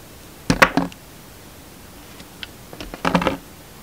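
A utility knife held in the hand slices and scrapes a solid black bar of soap shaped like a money bag. Two bursts of crisp, dry cutting and scraping come early and near the end, with faint small ticks between them. Each sound stops almost at once, leaving a quiet background.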